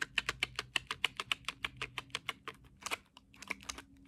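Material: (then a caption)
Cardboard. A small cardboard crayon box full of crayons is turned in the hands and tapped on its sides and front with long acrylic nails. About 22 quick, dry clicking taps sound in an uneven rhythm, bright and papery around 3 kHz with almost no low end. Each tap dies away instantly.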